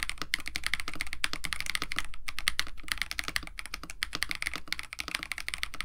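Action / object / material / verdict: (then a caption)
tap / mechanical keyboard with PBT plastic keycaps / plastic / none. Both hands type continuously with their fingertips on a compact 65% KBD67 Lite mechanical keyboard with a white case, blue and white PBT plastic keycaps, an FR4 plate and lubed Techno Violets switches. The result is a fast, uneven stream of short, dry clacks, with a bright click around 2.3 kHz over a soft low thock.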